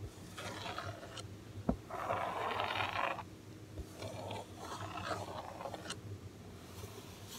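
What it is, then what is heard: Cardboard toy box. Fingertips tap and scratch across the yellow printed back of a large cardboard Super Wings toy package, a flat panel of the hollow box. Bursts of dry, papery scraping alternate with a few short, sharp taps, with the longest and loudest scratch in the middle. The sound stays quiet and close, with little low rumble and a bright rasp.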